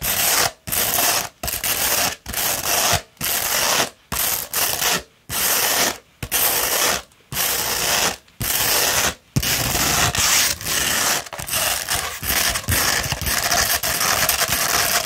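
Long red nails scratch a coarse 60-grit sandpaper sheet rolled into a tube, making dry, gritty, bright scraping strokes. For the first nine seconds the strokes come in separate bursts with short silent gaps. After that they run together into a faster, continuous rasping scratch.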